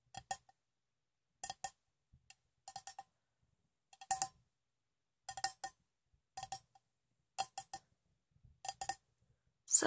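A metal cup with some water in it is tapped in quick bursts of two or three light taps, spaced about a second apart. Each tap is a bright, clicky ping with a faint metallic tone that dies away almost at once.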